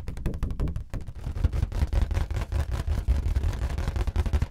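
Fingertips and nails tap and rub the surface of a large, hollow, air-filled orange rubber balloon held in both hands. The result is a rapid, uneven run of soft, deep, booming thumps with brief dry ticks and rubbing between them, almost all of the energy low and very little brightness.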